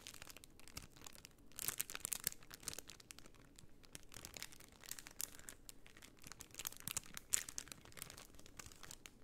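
A flat sheet of white plastic half-pearl stickers inside a clear plastic bag is bent and crinkled by hand while long nails scratch the bag. The result is quiet, bright, dense crackling and scratchy rustling with no ring, swelling briefly louder around two seconds and again near seven seconds.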